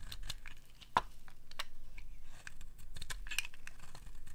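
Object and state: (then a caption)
Dry bar soap being scraped with a blade. A metal blade scrapes along the end of a dry pink bar of soap, shaving off pink curls. The sound is a steady, dry, crackly scraping with brief sharp ticks, including one louder click about a second in.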